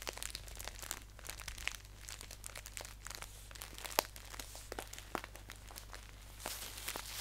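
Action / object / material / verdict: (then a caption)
scrape / paper tea pouch / paper / none. Fingers crinkle and fold the top edge of a green paper tea pouch held upright on a lap. Soft, bright paper crinkles and crisp crackles rustle continuously, with a few sharper snaps standing out over a steady low hum. The rustling swells slightly louder in the last second.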